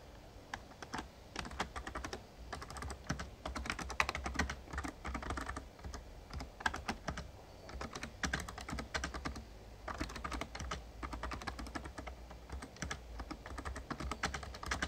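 Fingertips of both hands type rapidly on an RGB-backlit plastic Razer Ornata Chroma mecha-membrane gaming keyboard with a hollow casing. The result is a dense, steady stream of short, dry clacky taps centered around 1 kHz with some bright edges, over a constant low hum.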